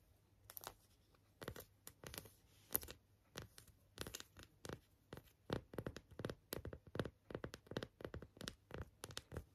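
Long acrylic nails tap and scratch the surface of a small, flat, flower-shaped printed coaster that looks like card or paper, held in both hands. Quiet, dry, papery scratches and taps come in short bursts at a slow, uneven pace, each with a bright, crisp hiss and no ring. A faint low hum sits underneath.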